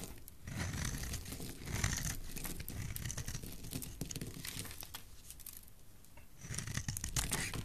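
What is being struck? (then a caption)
Soap bar shaved with a knife blade. A utility knife blade shaves flakes off a solid oval blue soap bar in repeated scraping strokes. The result is a dry, crinkly rasp with soft low thuds beneath bright, hissy bursts that swell and fade across the clip.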